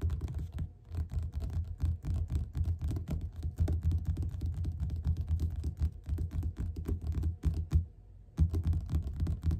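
Fingertips and nails tap quickly on the cover of a yellow paperback book lying flat and solid. The result is a dense, uneven run of soft, dull, low thuds with faint clicky edges and a brief pause near the end before the tapping resumes.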